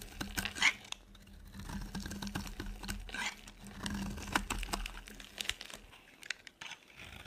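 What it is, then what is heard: Dry soap bar being shaved. A metal blade shaves a solid, dry white soap bar, sending flakes crumbling off. Dry, crisp scraping and crackling come in short bursts with quick bright ticks, over a faint steady low hum.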